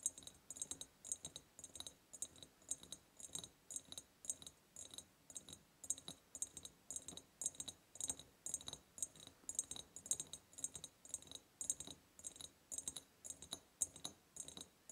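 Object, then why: Ribbed glass jar. Long painted nails tap and scratch the ribbed sides of an empty clear glass jar. The result is a steady run of quick, bright clicks and glassy scrapes with a high ringing tone, with almost no low end and only short decays.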